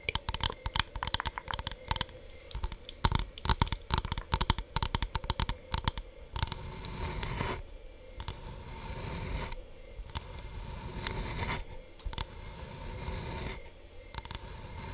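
A thin, solid hexagonal bamboo board with an engraved honeycomb carving is tapped and scratched with long nails. Quick, sharp taps come first, then longer stretches of dry, bright scratching across the carved surface.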